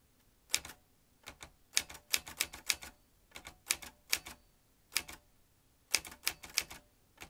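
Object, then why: Metal manual typewriter. A vintage metal manual typewriter with round keys and typebars is typed quickly with the fingertips. About 22 sharp, bright metallic clacks land in quick bursts separated by short pauses. Each strike dies away almost instantly, with nearly no low end.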